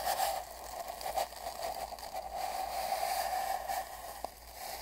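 A large paint brush is swept along the surface of a long, hollow brown cardboard mailing tube lying on a bedsheet, moving from the middle toward the left end. The soft, scratchy brushing rings with a steady hollow resonance around 790 Hz, swelling and fading with each stroke, and a brief sharp tick sounds near the end.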